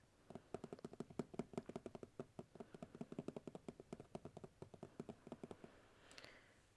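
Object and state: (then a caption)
Plastic organizer container. Light fingertip taps on a plastic organizer container with a few things sitting on it make a rapid, even run of dull, short clicks with little ring. The taps continue for most of the clip, then give way to a soft breathy rustle near the end.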